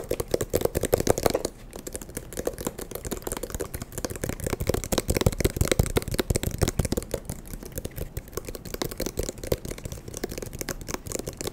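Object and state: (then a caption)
Eyeglass case. An eyeglass case is tapped quickly and continuously, producing a dense stream of short, dry, clicky taps with a hollow mid-range body around 480 Hz. The taps dip briefly at about 1.5 seconds before resuming at a steady, rapid pace.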